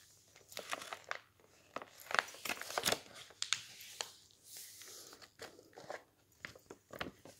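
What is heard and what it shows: A thin glossy magazine page is lifted, bent and crinkled by fingertips while the other hand holds the open magazine flat. Crisp, bright crackles and crinkles come in quick, uneven bursts with almost no low end and no ring.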